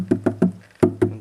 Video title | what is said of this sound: Igloo Sportsman 55 vs Yeti 65 | it does sound hollow tapping on the cooler